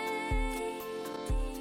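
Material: Nothing is struck.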